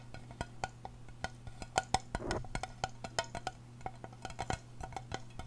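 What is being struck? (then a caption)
Small aluminum screw-lid tin. A small, round, hollow silver aluminum tin with a screw lid is held close and tapped and scratched with long painted nails. Many quick, dry clicks with a short ring around 760 Hz come in an uneven stream, with a brief scratchy rustle in the middle and a steady low hum underneath.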